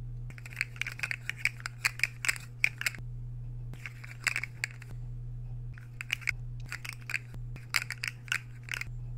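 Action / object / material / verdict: scrape / ceramic plate and metal fork / ceramic / none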